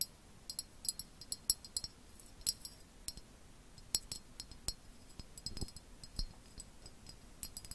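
A medium, clear, hollow and empty glass jar with a red lid is held in both hands close to the mic and tapped with long painted acrylic nails. The taps are light, bright clinks that die away almost at once, scattered irregularly across the clip over a low, soft background.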